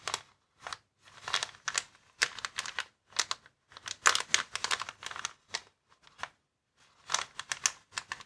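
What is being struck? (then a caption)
Plastic air column cushion bag. Fingertips and short nails scratch and tap a flat, clear plastic air column cushion bag, a hollow inflatable packaging with air-filled columns, lying on a wooden table. Bursts of bright, crinkly scratching come in irregular clusters, each dying away almost at once, with brief silent gaps between them.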